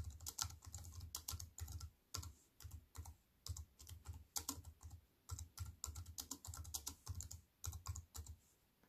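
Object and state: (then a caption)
Plastic computer keyboard. A compact wireless keyboard with black plastic keys on a grey metal-look frame, lying flat on a wooden table, is typed on with fingertips and long white-painted nails. Quick bursts of bright, crisp key taps over a soft low thud, separated by brief pauses, each tap dying away almost instantly.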